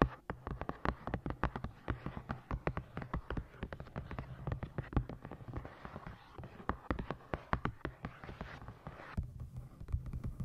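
Long nails tap and scratch the cover of a navy hardcover book with a moth and moon design, held on the microphone. Quick, dry, close-up taps with almost no ring come in a steady stream, mixed with soft scratching. The sound is dull and low-heavy.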